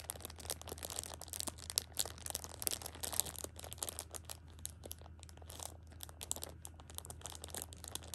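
A Shopkins pocket tissue six-pack in plastic film is held and squeezed at the edge by a hand with long pink nails. The wrap gives off a steady stream of bright, dense crinkling with many sharp crackles, over a low, constant hum.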